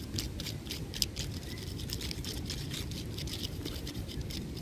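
Both hands scratch and rub the coarse, furrowed bark of a large solid tree trunk with fingertips and short nails. The result is a steady run of short, bright scratching bursts over a low, rumbling background. One sharper click stands out near the one-second mark.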